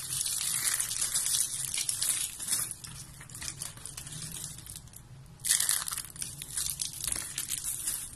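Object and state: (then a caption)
Dry soap curls crushed by hand. Both hands squeeze and crush yellow and white dry soap curls into flakes, making a dense, bright crunching and crinkling sound. The crackle runs steadily, eases into a quieter patch, then swells again with another loud burst of crunching.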